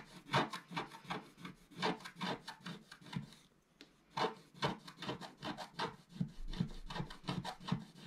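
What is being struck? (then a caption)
Black-coated scratch-art paper scraped with a wooden stylus. A wooden stylus scrapes the black coating in the upper right area of a flat scratch-art paper sheet held flat by one hand. It makes a rapid, uneven series of short, dry scratching strokes with a bright rasping edge and a low body. There is a brief quiet pause near the middle before the scratching resumes.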